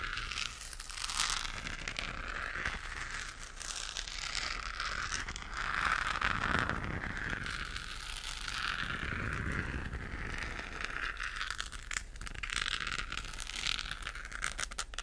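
Long acrylic nails scratch the textured surface of a hollow, galaxy-lit plastic moon lamp held close to the microphone. The result is a steady, dense crinkly scratching with a bright, hissy edge centered around 1.3 kHz, swelling and easing in waves over a faint low rumble.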